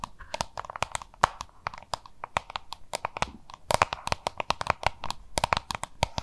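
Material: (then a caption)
Plastic. Long manicured nails rapidly tap and scratch the label side of a small, hollow, oval yellow-green plastic lunch box with a "Have a look" cartoon label, held in both hands. The result is a dense stream of sharp, crisp clicks and crinkly scratches, each with a faint hollow plastic tone near 940 Hz and almost no ring.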